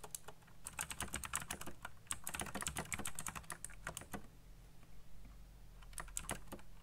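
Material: Plastic.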